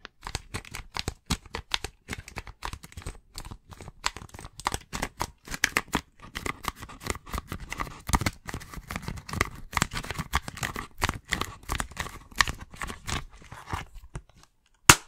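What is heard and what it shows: Fingertips and nails tap and scratch a hollow plastic video game case as it is held and tilted. Quick, dry clicks and scratchy rasps come in rapid, uneven bursts with little ring, then one sharper, louder tap lands right at the end.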